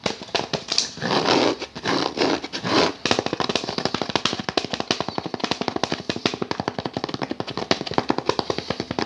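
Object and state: Wooden picture frame, tapped and scratched.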